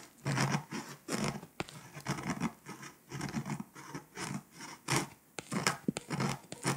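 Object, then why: Foil-coated paper scratch-off map. A pink scraper held in a hand with long white pointed nails scratches the foil off a flat, foil-coated paper scratch-off map of Europe near Lithuania. Repeated dry, raspy scraping strokes come in short bursts with a bright, papery hiss and a few sharp clicks, with quiet gaps between them.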